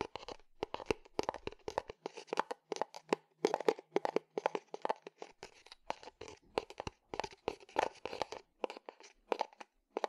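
A small, hollow, empty unglazed terracotta clay flower pot is held sideways and tapped and scratched with fingertips and nails. The result is a rapid series of short, dry, clicky taps and scraping strokes, centered around a mid pitch near 440 Hz with a little brightness and almost no ring after each hit.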